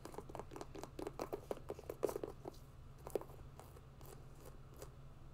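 Long nails scratch and tap along the synthetic upper of an empty grey mesh and synthetic hiking sneaker. The result is a quick series of dry, short clicks and scratchy strokes centred in the low mids, busiest in the first half and thinning out afterward, over a steady low hum.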